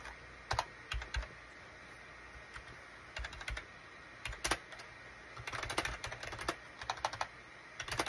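Fingertips type on a full-size gray and beige SHIPADOO K600 wired USB keyboard with hollow plastic keycaps, tapping the keys in irregular bursts. The keystrokes are short, dry, bright clicks with quick decay, separated by brief pauses over a faint steady hiss.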